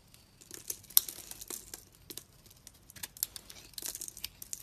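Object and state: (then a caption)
Bar soap being shaved. A snap-off utility blade shaves and scrapes flakes off a solid magenta soap bar with a blue inside, held in one hand. Quiet, crisp, bright scraping and crackling comes in a dense run of short, dry strokes and ticks, with a few sharper snaps and almost no low end or ring.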